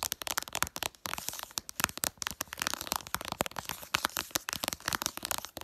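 Long purple nails tap fast on the glass screen of a flat smartphone showing icons. The result is a rapid, dense string of sharp, bright clicks and ticks with almost no low end and no ring after each tap.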